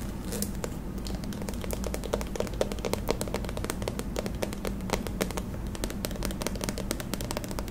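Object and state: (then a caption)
Plastic cream tube. Long acrylic nails tap and scratch a white Pond's squeeze tube made of soft plastic and filled with cream. The result is a dense, steady run of quick, bright clicks and crackly scrapes with almost no ring, over a constant low hum and a faint tone near 200 Hz.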